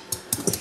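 Taps on the surface of Uzbek plov rice in a kazan give a few short, dull, muted thuds with a faint crisp high edge. The dull sound shows the water has fully boiled off over high heat, and the rice is ready to be turned and covered.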